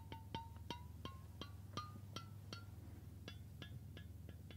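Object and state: Stainless steel water bottle.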